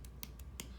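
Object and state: Thick clay bowl bottom (dull tap).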